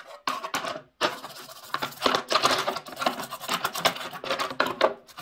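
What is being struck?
Plastic washing machine detergent drawer.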